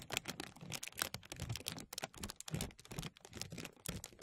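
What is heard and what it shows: Fingertips pinch and pull a thin translucent plastic bag stretched over a mesh microphone, making a dense run of soft, quick crinkles. The crackles are bright and crisp with short, dry snaps and a faint low rustle underneath, continuing unevenly throughout.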